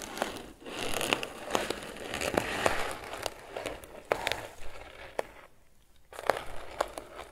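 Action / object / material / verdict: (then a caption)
scrape / crocheted twine basket / twine / none. Fingertips and nails scratch the lid and sides of a grey crocheted twine lidded basket. Dry, crinkly rustling is punctuated by sharp little ticks and snaps, with a brief near-silent pause before the scratching resumes.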